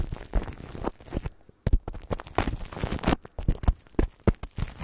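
Fingertips and nails of both hands rub and scratch clear plastic cling film wrapped over a microphone grille, giving close, crinkly rustling with sharp scratchy bursts. The sound is heavy in the low end with quick, dry attacks and one brief near-silent pause before the scratching resumes.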